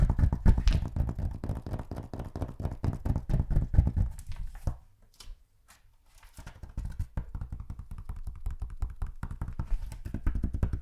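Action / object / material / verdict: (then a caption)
tap / hardback book / cardboard and paper / none. Fingers tap rapidly on a hardback copy of The Tales of Beedle the Bard, making a dense stream of dull, low, dry thuds with almost no ring. The tapping fades to near silence for about a second in the middle, then resumes at a steady, slightly softer pace.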